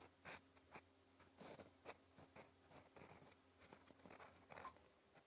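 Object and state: Fountain pen nib writing on paper.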